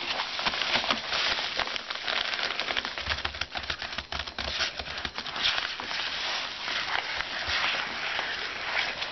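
Fingertips drum and tap on a flat white paper padded mailer holding a book, with a hand resting on it on a desk. The result is a steady, dense flurry of soft, crisp papery taps and crackles, bright and dry with almost no low end or ring.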